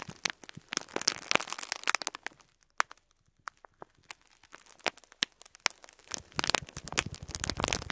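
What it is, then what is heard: Plastic bag of faux pearl beads being crinkled. Fingertips squeeze and rub a full clear plastic bag of faux pearl beads resting on cloth, crinkling the thin plastic. Bright, dry crackles and sharp snaps come in quick bursts, thin out into sparse clicks in the middle, then build back to dense crinkling toward the end.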